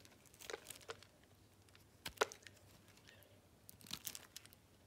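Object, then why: Solid bar of soap. A utility knife blade scrapes and slices across the scored surface of a solid blue soap bar that has already been carved down. Quiet, dry crackling and crisp scraping bursts come in irregular clusters, bright and short with almost no ring, separated by near silence.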